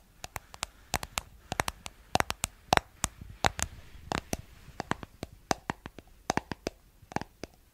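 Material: Plastic.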